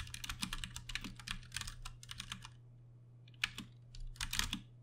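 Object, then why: Plastic mechanical keyboard with tactile switches. A compact 60% Ducky One 2 Mini mechanical keyboard with plastic keycaps and Cherry MX Brown switches, RGB backlit and resting on a desk, is typed on with the fingertips of both hands. Rapid bright, crisp clacks arrive in dense bursts over a steady low hum, with a pause before a few sharper taps and a final flurry.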